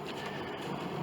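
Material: Nothing is struck.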